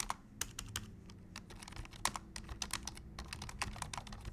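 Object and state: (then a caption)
Plastic computer keyboard. Both hands type rapidly with their fingertips on a black plastic full-size computer keyboard resting on a desk. Quick, bright plastic clicks and taps come in an uneven stream, each dying away almost instantly. Beneath them runs a steady low hum.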